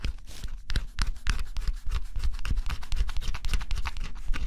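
A small tool held in the fingers scrapes the black coating off a cardboard scratch-off jigsaw puzzle. It makes a rapid, continuous run of short, dry scratching strokes with bright, papery texture over a steady low rumble, as flakes of coating come away.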